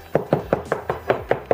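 Knocking eight times on a drywall wall over a wooden stud, listening for a denser sound to locate the stud before installing a Harbor Freight full-motion TV mount (64357/63155). Each knock is a short, dry, solid thud with a mid-pitched body and almost no ring. The stud is confirmed at that spot by a magnet sticking to the drywall nails or screws.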